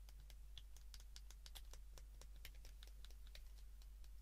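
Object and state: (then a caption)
Plastic phone keypad buttons. A white plastic flip phone is held in the hands while its keypad is pressed rapidly with both thumbs and fingertips. The result is a quick run of small, bright plastic clicks and ticks over a steady low hum.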